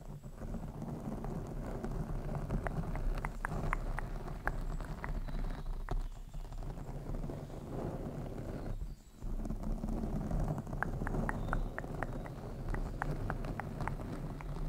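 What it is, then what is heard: Foam microphone windscreen. Fingertips and short nails of both hands tap and scratch a soft, porous black foam windscreen over a hollow microphone head. The result is a steady stream of deep, muffled thumps and rustling, with rapid sharp clicking throughout and a brief quiet gap just before the tapping resumes.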